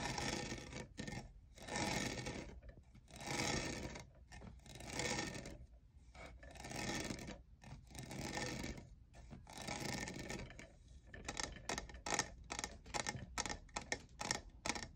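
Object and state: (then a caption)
Plastic studded tumbler. Fingernails scratch and tap the faceted side of a tall, hollow lavender plastic jeweled tumbler that appears empty. Long, bright, raspy scrapes come in slow, even strokes, then give way to quicker, shorter scratches and taps toward the end.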